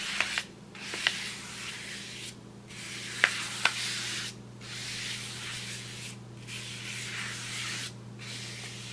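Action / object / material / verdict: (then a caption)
scrape / large kraft paper bag / paper / none. A wide paintbrush is swept across the surface of a large, flat brown kraft paper bag in six long strokes separated by short pauses. Each stroke makes a bright, airy scratching hiss, with four sharp ticks standing out early on. A faint, steady low hum runs underneath throughout.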